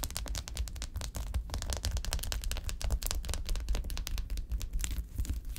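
A flat sheet of small, filled, silver foil-wrapped ice pack cells lying on a table is tapped and scratched quickly with long acrylic nails. The result is a dense, steady stream of sharp crinkly clicks and scrapes over a soft, low thumping body.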